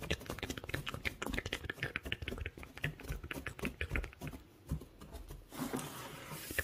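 Fingertips with short nails dig and scratch through a loose pile of small pale wood shavings or sawdust. Dense, dry crackling and rustling scratches come in quick, short bursts, ease into a brief lull near the middle, then return as a broader, bright hiss toward the end.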